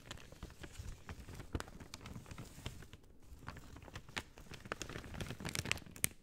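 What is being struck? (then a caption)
Thin paper bag. An empty, thin white-grey paper bag, hollow and folded, is held in both hands and crumpled, folded and squeezed with fingertips and long dark-teal painted nails. The result is a quiet, steady crinkling with a soft low rustle underneath and short, bright crackles popping out now and then, the sharpest near the end.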